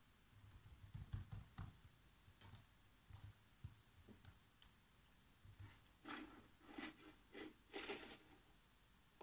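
Fingertips type on the black plastic keys of a laptop keyboard, giving quiet, repeated key taps. Soft low thuds come first, then clusters of brighter, clattery presses in the second half. Each tap dies away almost instantly.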